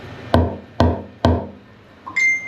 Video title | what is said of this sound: Rebuilding My 58’ Viking in a Canadian Winter… While It’s Still in the Water I Ep 7 | nice hard thud is kind of what you're looking for